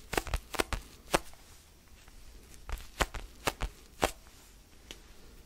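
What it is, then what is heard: Foam stress ball. Fingertips scratch and tap a small, solid orange foam basketball stress ball held near the mic. Short, dry, broadband taps stand out in irregular clusters over a soft, scratchy rustle. Each tap dies away almost instantly.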